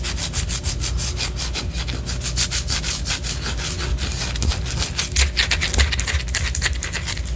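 Long orange acrylic nails scratch the side of a large white solid wax pillar candle held close up. A steady run of quick, raspy scratching strokes gives a bright, gritty texture over a constant low rumble, with a few sharper scrapes standing out along the way.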